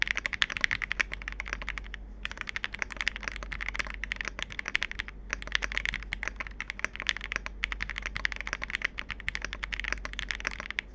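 Both hands type continuously with their fingertips on a Capsule 65, a compact 65% mechanical keyboard with plastic keycaps. Dense, bright, short clacks of key presses run throughout over a faint steady low hum, with brief pauses near 2 and 5 seconds.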